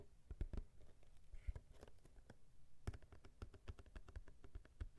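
A small, hollow cube tissue box made of printed cardboard is held in both hands and tapped and scratched with fingertips and nails. The result is a quiet, uneven run of short, dull, low hollow thuds with soft scratching between them, each tap dying away almost instantly.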